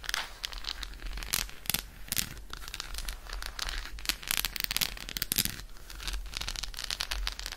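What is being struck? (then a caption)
Milk chocolate bar. Long nails scratch quickly along the embossed squares of an unwrapped solid milk chocolate bar held in one hand. The result is a dense, bright, crackly scratching with rapid clicky bursts over a faint low hum.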